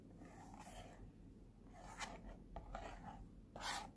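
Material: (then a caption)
Cardboard. A small, flat, pink printed cardboard box of Cooky face point masks is held in hand while fingertips and nails rub and scratch across its printed front. Quiet, dry scratching strokes come in short, bright, raspy bursts, with one sharp, louder scrape near the end, over a low, steady background hum.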